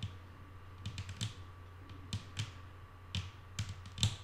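Long nail tips, with the fingers curled, tap a solid, flat wooden tabletop about ten times in light, irregular clusters. Each tap is a bright, crisp click that dies away almost at once, over a steady low hum and a faint constant tone.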